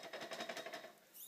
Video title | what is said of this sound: How To Tell If Your Forks Are Junk | if I shake it you can hear the the spring rattling around